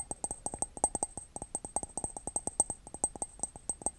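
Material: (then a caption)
Ceramic. Fingertips and nails tap rapidly on the side of a hollow, empty white glazed ceramic mug with a red heart pattern, held near the mic. About thirty quick, dry taps each give a short thunk with a bright, high ping that dies away almost instantly.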